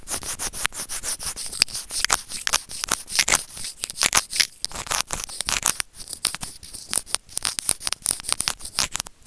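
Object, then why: Small plastic earphone remote rubbed with plastic tweezers. Ridged white plastic tweezers are rubbed lengthwise along a small, hollow white plastic earphone remote/mic. The result is a dense run of quick, bright, scratchy rubbing strokes, mostly high in tone with very little low end, each dying away almost instantly.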